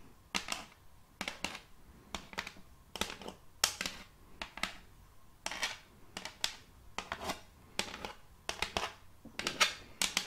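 Metal fingertip claws rapidly tap a large, solid, round board of checkered end-grain wood held upright. The taps come in quick, uneven bursts of sharp, bright clicks with very little low end. Each tap dies away almost instantly.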